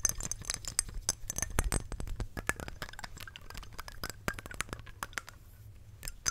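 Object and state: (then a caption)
Glass perfume bottle. Long nails tap rapidly on a small square glass perfume bottle with a glass cap, filled with amber perfume and held close to the mic. The result is a quick, uneven run of bright, sharp clinks that die away almost instantly, over a soft low rumble.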